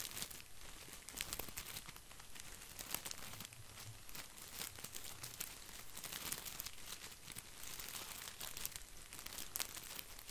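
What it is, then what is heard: Artificial plastic boxwood ball. Fingertips stroke and scratch the green plastic leaves of an artificial boxwood ball, making a steady, quiet crinkling and scratching. Dense bright ticks and rustles run throughout with no pauses, over a faint low rumble.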